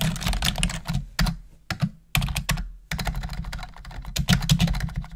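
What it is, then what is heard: Plastic computer keyboard being typed on. Long acrylic nails tap rapid, uneven clicks across a full-size black plastic computer keyboard with a hollow housing as two hands type. The clacks are bright with a hollow low thump and short pauses between bursts, over a steady low rumble.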